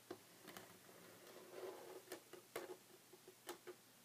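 Short red fingernails on both hands tap a flat, solid, light wooden tabletop. The quiet, irregular clicks are short and dry, each with a brief hollow knock around 350 Hz and a bright click on top, over a soft steady background hiss.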